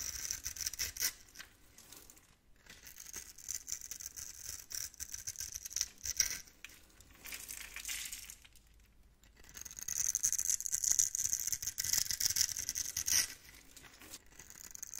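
A blade tool scratches and scrapes a layer of small scored cubes off a solid, hand-sized bar of lilac soap held in the palm. The result is a bright, crisp, crackling rasp that comes in bursts, with brief pauses near 2.5 and 9 seconds, and the loudest and sharpest stretch is from about 10 to 13 seconds.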